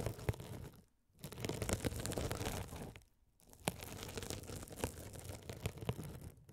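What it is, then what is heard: Glitter mesh scouring sponge. A hand-sized blue scouring sponge, soft and solid with a sparkly woven glitter mesh cover, is held over the microphones and scratched with a rolling gold metal spiked roller. It makes dense, close, low-heavy scratching and crackling in three bursts, broken by two brief silences, with sharp little clicks throughout.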